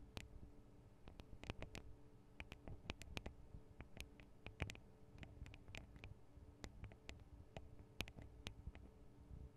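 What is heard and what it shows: Long acrylic nails tap on the thin metal microphone guard arms and capsules of a handheld Tascam DR-40 recorder. Many quick, irregular taps produce sharp, bright metallic ticks that die away almost instantly over a quiet, low, steady hum.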